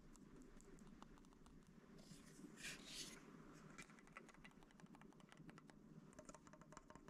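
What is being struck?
Metal-bodied film camera.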